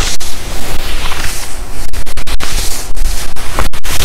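Palms and fingertips rub and scratch the sleeves and chest of a black, shiny, quilted and padded nylon puffer jacket being worn. The result is a loud, steady, muffled swishing rustle, heavy in the low end, with rhythmic scratchy strokes that swell and dip throughout.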